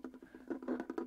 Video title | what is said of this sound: RELAXING REVIEWS - Is This $50 Projector Any Good?? DBPOWER T20 | sounds hollow when you tap it on the top